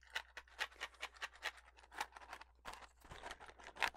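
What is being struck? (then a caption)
Small cardboard matchbox. A small, hollow, printed cardboard Redbird matchbox is handled, tapped and scratched with long fingernails, and possibly slid open. The result is a quick series of dry, papery taps and scratches with bright, crisp edges over a faint steady low hum.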